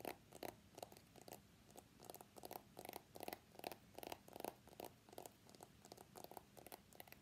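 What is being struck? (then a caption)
Smartphone in a plastic case. Fingertips and short nails tap rapidly on the back of an iPhone X in a pale green plastic case with a pink flower print, held in both hands above a black desk mat. The taps come in quick, uneven bursts of short, hollow clicks centered around 690 Hz with bright, crisp edges. The small device sounds light and hollow, and each tap dies away almost instantly.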